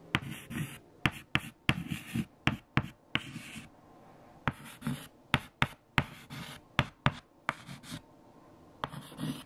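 Fingertips hold white chalk and write numbers on a large, flat black chalkboard with eraser smudges. Scratchy strokes are broken up by about fifteen short, sharp taps of the chalk against the board, spaced unevenly across the clip. The strokes carry a low rasp with a bright hiss on top, and the taps click dry with almost no ring.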